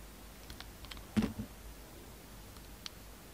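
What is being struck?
Bar of soap cut by a metal blade.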